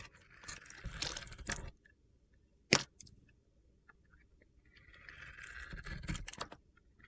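A metal box-cutter blade shaves the glittery surface layer off a dry, solid, white opaque soap bar coated with black and purple glitter, held in the hand. Two bright, gritty scraping passes are heard, separated by a sharp click and a few faint ticks in the quiet between them.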